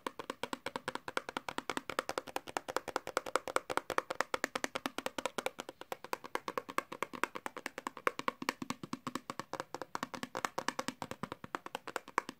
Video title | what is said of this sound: ! Fast Tapping & just being nasty funny / tingly | Right, so the first thing I've got to tap on is this hairbrush.